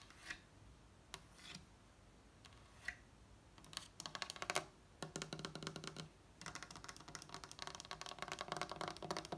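Long acrylic nail tips from both hands tap quickly on a flat, solid wooden tabletop, while the other hand sometimes mimes in the air. A few sparse, soft taps open the clip, then give way to dense bursts of rapid, dry, clicky tapping. The taps have a bright edge and die away almost at once.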